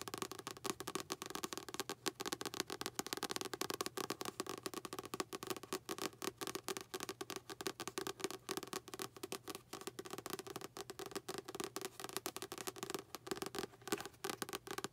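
Long acrylic nails tap rapidly and steadily on the back paper cover of a light blue paperback book. The taps are quick, dry clicks with almost no ring, a papery midrange body and bright, crisp edges, with very little low end.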